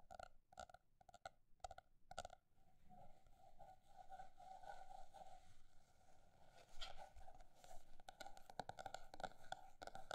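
A paper notebook is tapped with fingertips, first with slow, separate taps, then with faster, denser tapping. Each tap is a short, dull knock with a hollow mid-range tone around 750 Hz. Near the end the quick tapping comes in brief, louder bursts.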